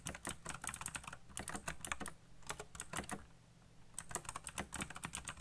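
Fingertips type fast on a colorful backlit mechanical keyboard with black plastic keycaps, producing rapid, crisp, bright clicks with a low thump under each keystroke. The typing runs in quick bursts, briefly thins out around the middle, then picks back up, with each click dying away almost instantly.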